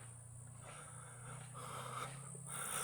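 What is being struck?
Nothing is struck.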